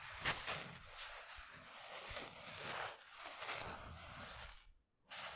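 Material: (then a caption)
Polyester. Fingertips and nails scratch and rub across the raised twill lettering, center graphic, and thin polyester mesh of a black Tune Squad basketball jersey hanging on a hanger, close to the microphone. The result is a steady, bright, hissy scratching that swells and fades in uneven strokes. It drops to near silence briefly before a final scrape.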